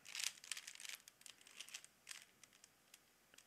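A small hollow plastic Rubik's cube is held in both hands while fingertips quickly twist its layers. This makes a dense burst of bright, crinkly plastic clicks and rattles that thin out into sparser, sharp individual clicks. The sound is quiet and almost entirely high-pitched, with no low end.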